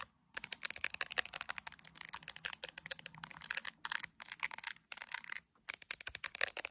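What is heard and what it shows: Long acrylic nails tap and scratch a handheld iPhone in a clear plastic case with colorful gummy bear charms, working over the case and the camera area while it is seen in a mirror. Rapid bursts of sharp, bright, clicky taps with very short ring fill the clip, broken by a few brief silent pauses, and nothing deep or low underneath.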